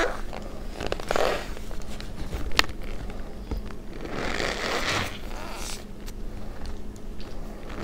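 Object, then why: Pile of cornstarch powder. Fingertips with long nails press, rub and squeeze a heap of loose white cornstarch flecked with red dye in a plastic bowl. Soft crunching squeaks and crackly rubbing come in waves over a steady low rumble. A few sharper, brighter squeaks stand out.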